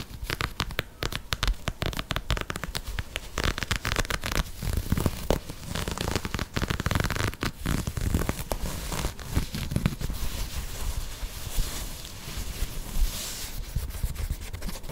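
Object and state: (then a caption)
Knit fabric sneaker. An empty, hollow light green and grey knit textile sneaker with a sock-like upper is held in both hands close to the mic and scratched and rubbed with long manicured nails. A dense, continuous run of quick crinkly scratches and soft rubbing follows, with dull, low-heavy texture and faint brighter fabric rasp.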